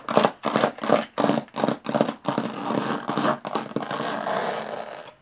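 Long nails scratch and tap the textured lid of a closed, hollow aluminum carry case. A series of short, separate raspy strokes with a hollow midrange ring gives way to faster, more continuous scratching before it stops.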